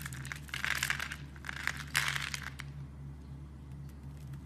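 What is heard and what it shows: A utility knife blade scrapes cubes off a solid, palm-sized dark brown bar of soap scored in a grid, and the cubes crumble away. Dry, crunchy scraping and crumbling bursts with a bright, crisp edge come in clusters, then fade to quieter crackles. A steady low hum runs underneath throughout.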